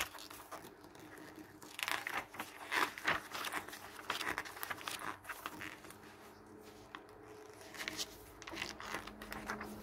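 A glossy paper garden catalog lies on a wooden table while fingertips rub and press its pages and then turn them. The result is soft, bright crinkling and rustling with dense clusters of small crisp crackles and a low steady hum underneath.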